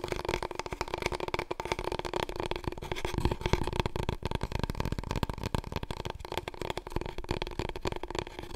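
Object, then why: Long cardboard roll core. Long nails tap and scratch quickly along a large, long, hollow, empty brown cardboard paper roll core held diagonally, then horizontally. The result is a dense, continuous stream of short, dry clicks and rasping scrapes with a hollow low resonance and a steady tone near the middle.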